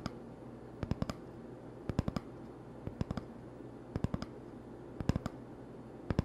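Fingertips tap quickly on the surface of an empty, hollow cardboard toilet paper tube held in one hand, making short, dry, hollow clicks. The taps come in quick bursts of three or four, about once a second, over a steady low hum.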